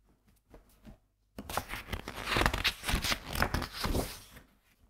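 Fingertips turn and rub flat the matte and coated printed paper pages of a medium softcover graphics book held open with both hands, near an untouched recorder. A few soft, faint rustles and a brief pause give way to a sustained, dense papery rustling and crinkling with bright swishes. The sound then fades back to quiet.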